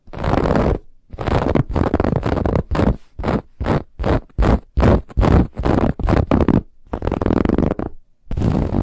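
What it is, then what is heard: Fabric pillow being scratched. Fingernails scratch and rake over the woven lattice band of a soft white cushion, producing a rapid series of separate, rough scratching bursts. Each stroke is a dense, rasping noise with a heavy low rumble and a bright hiss on top, separated by brief silences.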